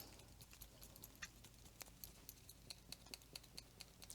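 A fineliner pen, revived after water was added to its dried-out ink core and the tip pushed back in, is shaken hard. The ink core rattles inside the thin plastic barrel as a rapid series of faint, bright clicks over a low background hum.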